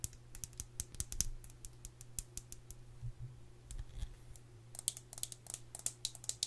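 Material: Metal.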